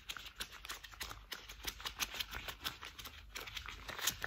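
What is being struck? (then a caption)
Thick rubber household gloves. Hands wearing thick cream rubber household gloves are rubbed together and interlocked, giving a quick, uneven series of bright squeaks and rubbery rasps. Each sound is short and dry, with almost no low end.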